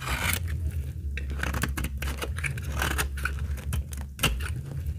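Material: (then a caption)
Soap. A utility blade carves curls from the edge of a solid, dry, translucent amber laundry soap bar with stamped lettering. Rapid, crisp scraping and snipping cuts ring out over a steady low hum, with sharp bright transients at each slice.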